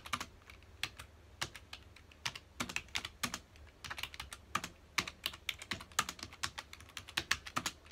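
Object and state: Plastic computer keyboard.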